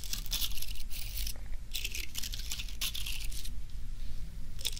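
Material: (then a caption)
Plastic. A thin wooden stick is scraped and brushed through the stiff plastic bristles of a small bottle-brush mini Christmas tree dusted with fake snow, standing on a small wooden base, close to the microphone. Bursts of bright, crackling scratches come in uneven strokes over a steady low hum.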